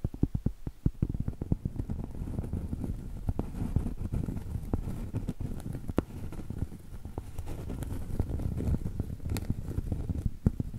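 Long stiletto acrylic nails tap rapidly across the edge and surface of a round, solid cork trivet. The result is a dense, continuous patter of soft, dull, low-pitched taps that stop almost instantly, with occasional sharper clicks standing out.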